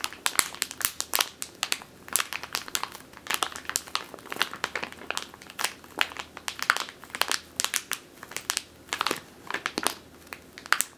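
Long teal nails squeeze and crinkle a medium clear plastic bag with a purple label, full of flour or grain. Dense, rapid bursts of sharp, bright crinkling crackle through the whole clip, with almost no low end and each burst dying away at once.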